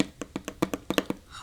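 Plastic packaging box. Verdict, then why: Hollow. Fingers tap a hollow plastic iPad packaging box in a quick series of light, evenly spaced taps. Each tap is a short, dull, hollow knock with a low-mid tone that dies away almost at once.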